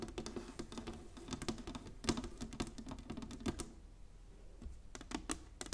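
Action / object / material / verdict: tap / inlaid wooden chessboard / wood / none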